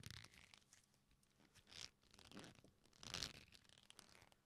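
A black leather belt with a flat, solid strap is folded and bent in both hands. It gives a series of creaks and rubbing, scratchy sounds that are bright and high, with louder swells around the middle and the end.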